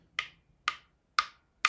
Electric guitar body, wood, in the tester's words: start tapping with a pick. It's pretty obviously hollow.